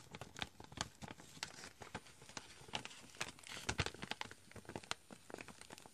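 Fingertips tap and scratch the front of a chicory pouch, a foil-lined plastic coffee bag, which crinkles as it is handled. Many quick, dry taps and crackly scratches sound close and quiet, with bright crinkling spread throughout.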